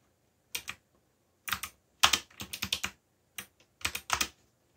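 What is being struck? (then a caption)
Plastic mechanical keyboard. Fingertips press the clicky keys of a backlit black plastic mechanical keyboard while typing. Bright, short clacks come in quick uneven bursts with silent pauses between them, and each click dies away almost at once.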